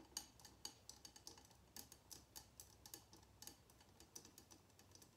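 Long nails tap rapidly around the glass sides of a small glass jar filled with red candle wax, resting on a table. The quiet, bright clicks come in an uneven rhythm, each dying away almost at once with little low-end weight.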